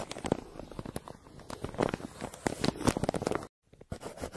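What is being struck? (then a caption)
Crumpled kraft paper mailer and wooden pencil. A yellow wooden pencil held in the fingers scratches back and forth across a crumpled brown kraft paper mailer lying flat, near its printed logo. Dense, dry scratching and crinkling rasps come with sharp, quick crackles. The sound briefly drops to silence, then picks up again with a few softer strokes.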